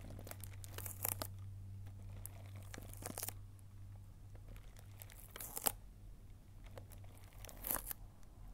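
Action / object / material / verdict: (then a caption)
scrape / cardboard box in plastic film / plastic film / none. Long painted nails scratch and tap the clear plastic film sealing a small green cardboard candy box held up close, making crinkly, tearing-like rustles with bright, sharp bursts. The scratching comes in several louder flurries over a steady low hum, with quick taps and faint crackles in between.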